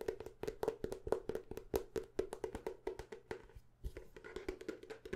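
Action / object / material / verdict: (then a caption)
tap / paper notebook / paper / none. Quick, fast tapping on the cover and pages of a paper notebook, heard as a rapid run of dry, short, wood-block-like taps with almost no ring. The taps come unevenly at roughly two per second, and a faint steady low hum sits beneath them.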